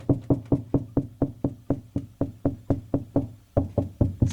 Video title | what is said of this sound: How to Add Duplex Outlet in Kitchen...Part 2 | you hear the lower noise that's Hollow that's a hollow cavity